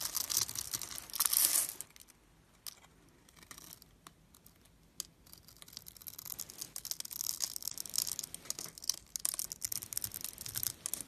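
A blade scrapes and carves small cubes off the scored top of a solid purple bar soap held in the fingers. A loud burst of bright, crisp scraping fills the first two seconds. After a near-quiet pause, a steady run of dry, crunchy cuts continues to the end.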